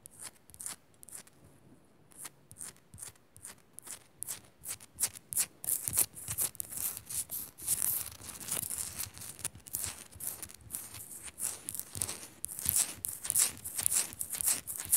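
Long nails scratch quickly along the sides of a small, solid pink rock-salt crystal Himalayan salt lamp, making a rapid series of short, dry, bright rasps with light taps mixed in. The strokes come in an irregular rhythm, start soft, and grow louder and busier after the first few seconds. Each one is crisp and high-pitched, with almost no ring.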